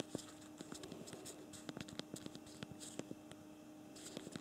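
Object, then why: Plastic physical keyboard of a smartphone. Rapid thumb typing on the physical plastic keyboard of a BlackBerry Priv smartphone, with both thumbs. About twenty short, dry clicks come in quick, uneven bursts. The taps are quiet and sharp, over a faint steady low-mid hum.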